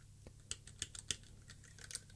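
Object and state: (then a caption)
Plastic mechanical keyboard switch tester. Fingertips of the left hand press and type on the white plastic keycaps of a plastic mechanical keyboard switch tester, with the keys arranged in a grid, while the right hand holds the edge of the board. The result is a quiet run of sharp, bright plastic clicks and clacks with almost no ring, heard over a faint low hum.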